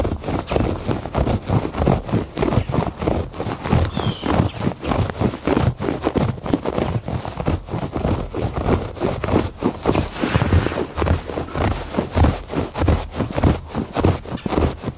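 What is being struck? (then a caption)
Thick woven fabric rug on a hard floor. Fingertips and nails scratch across the pile of a thick looped or woven textured fabric rug lying flat on a solid covered porch floor. Steady, slightly uneven strokes of dull, muffled scratching repeat at about 98 per minute. Each stroke is low and thumpy with little high hiss, and stops quickly.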